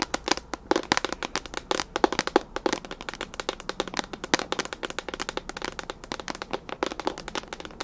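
Long nails rapidly tap and scratch a clear plastic storage container with a lid, full of small colorful items. The result is a dense stream of dry, sharp plastic clicks and light scratches with almost no ring, sitting mostly in the mids around 355 Hz with a bright edge and very little low end.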